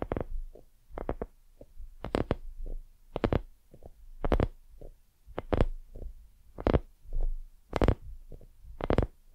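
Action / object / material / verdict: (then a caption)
tap / soft silicone dumpling-shaped lamp / silicone / none. Long nails scratch and tap the surface of a white, soft, hollow silicone dumpling lamp. Soft, dull, low taps come in an irregular series, some with brief bright scratchy edges and very little ring after each one.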